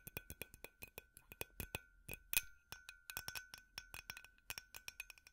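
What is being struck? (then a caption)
Glass light bulb tapped with metal picks. A glass light bulb is tapped rapidly with metal finger picks, producing a run of quick, bright glassy clinks. Each tap is short and high-pitched, and a faint steady tone persists underneath the taps.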